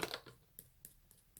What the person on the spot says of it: it sounds like metal to me